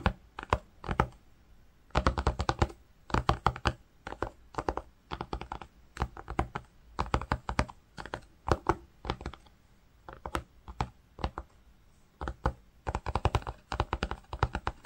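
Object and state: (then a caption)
Woven cotton fabric. A fingertip and nail trace across grey-green woven cotton fabric, making rapid scratching and tapping strokes. Quick bursts of dry, clicky taps come in clusters separated by short quiet gaps, with a dull low thud under each stroke and almost no ring after.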